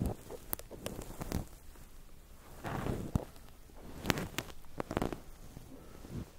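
Fingertips poke, press and pinch white cotton wool balls covering a microphone. The result is soft, muffled crackling and low rustling rumble, broken by scattered sharp, bright pops and taps.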